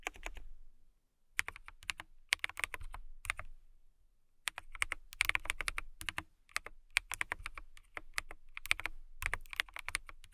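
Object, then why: Acrylic mechanical keyboard. Long nails type and tap on a transparent acrylic mechanical keyboard with clear keycaps. Bursts of rapid, bright, sharp clicks are heard, with short silent pauses between them.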